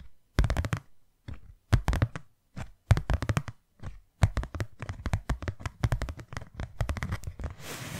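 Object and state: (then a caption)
Hollow cardboard box. Long nails tap and scratch a small, white, hollow cardboard box, making clusters of quick, dull, low thumps separated by short pauses. Near the end, the tapping turns into a brief, continuous scratchy hiss.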